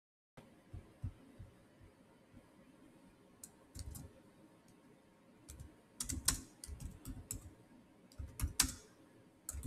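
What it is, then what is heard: Laptop keyboard with plastic keys. Fingertips with short nails type fast across the solid keys of a black plastic chiclet keyboard on a silver Samsung laptop. Quiet, uneven bursts of short clicks carry bright ticks over soft low thuds, each dying away almost at once. The clicks grow denser and louder in the second half, over a faint steady hum.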